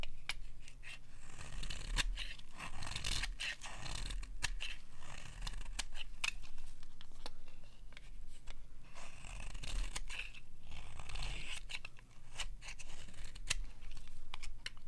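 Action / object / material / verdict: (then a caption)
scrape / bar of soap / soap / none. A metal blade scrapes repeatedly along the edge of a dry, bright green bar of soap, carving off crisp shavings. Quick, bright, dry scraping strokes come one after another over a steady low hum.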